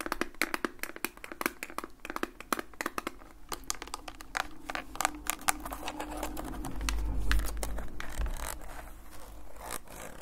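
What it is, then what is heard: Plastic instant camera, tapped and scratched. A hollow plastic Fujifilm Instax instant camera with a lens barrel is held in both hands and tapped and scratched with fingertips and nails, the fingers wearing rings. Rapid, irregular, sharp taps and clicks ring out brightly over a low rumble, giving way midway to a steadier scraping and rubbing before a few last taps.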